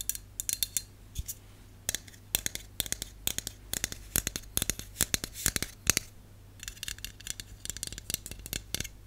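Long acrylic and natural nails tap and scratch a hand-held Dove dry shampoo aerosol can, a hollow aluminum cylinder with a printed label. Quick, bright, clicky taps come in irregular bursts, each dying away almost instantly, with stretches of lighter scratching over a faint low steady hum.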